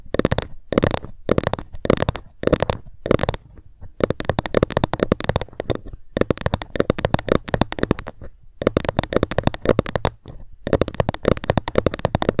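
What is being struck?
Ruler.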